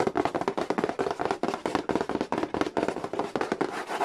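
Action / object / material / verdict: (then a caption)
tap / cardboard game box / cardboard / none. Fingertips and a small pen-like tool tap quickly along the lid and edge of a hollow cardboard Monopoly board game box. About two dozen dry, hollow taps run together in a rapid, uneven patter, mostly in the midrange with little bass. Each tap dies away almost instantly with no ring.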